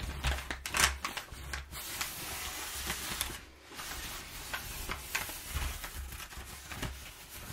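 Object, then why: Crumpled kraft packing paper. A crumpled, perforated sheet of kraft packing paper is rubbed between both hands while long nails scratch and tap on it. The result is a steady, bright, crackly rustle with sharper scratchy bursts and a soft low rumble underneath.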